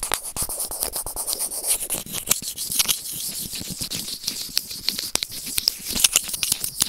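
White serrated plastic tweezers scratch and pinch a small, hollow white plastic earphone inline remote microphone lying on grey felt. The result is a dense run of quick, dry clicks and scraping rasps, mostly bright and high with very little low end. Each tick dies away almost instantly.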